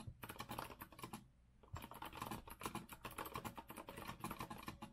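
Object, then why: Mechanical keyboard with metal frame and round plastic keycaps. Both hands type rapidly with their fingertips on a compact retro Azio mechanical keyboard, which has a rose-gold metal frame, round typewriter-style plastic keycaps and a white base, and rests on a wooden desk. The result is a dense run of short, crisp clacks centered around 1 kHz. A brief pause comes just before the middle, then continuous typing resumes.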